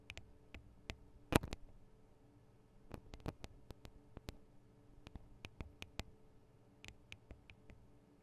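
Long acrylic nails tap the small, hollow metal microphone capsules and their metal guard wings on a Tascam DR-40 recorder. The result is an irregular series of quiet, sharp, dry clicks with almost no ring, over a faint low steady hum. One tap early on stands out louder than the rest.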